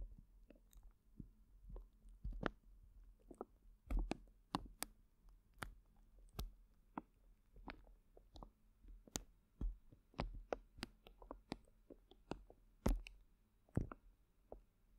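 Hands grip and squeeze a clear plastic zip bag full of colorful gel water beads, making the beads squish and shift inside. Quiet, soft squishing runs under a steady low hum, broken by scattered sharp clicks and crackles of plastic that reach bright highs.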